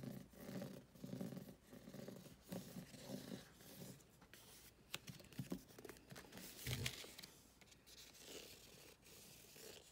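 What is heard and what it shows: Fingernails scratch across the glossy laminated card cover and along the edge of a thick, solid paperback book, *Ghosts of the Shadow Market*, held in hand. The result is a quiet, dry scratching and rasping with short, uneven strokes.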